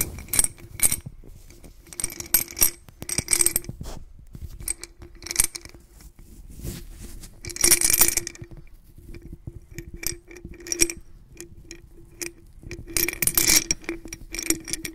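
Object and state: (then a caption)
Glass jar of glass beads. A white-gloved hand holds a medium clear glass bottle-shaped jar, partly filled with blue glass beads, by the neck, tilting and shaking it so the beads roll and clink inside. Bright, rattling bursts of glassy clinks come and go with short quiet gaps, over a faint ringing tone near 340 Hz.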